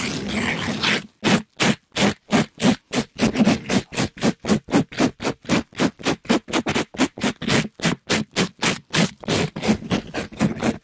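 A palm-sized, soft, compressible rectangular pink sponge with a glittery plastic-mesh cover is held in a black-gloved hand and rubbed against a microphone grille. A continuous rough scratching opens the clip, then breaks into about 34 quick, separate brushing strokes at roughly three to four per second. Each stroke is a noisy, full-range scrape with a low hum near 215 Hz, cut off by short gaps of silence.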